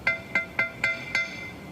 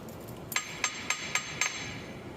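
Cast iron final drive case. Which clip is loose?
The first.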